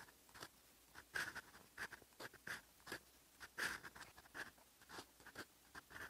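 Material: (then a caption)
Paper. A steel fountain pen nib, held in the fingertips, scratches ink strokes across a sheet of lined writing paper. The clip is full of quiet, irregular bursts of dry scratching, each with a faint tone around 1.7 kHz and a bright hiss, separated by short pauses.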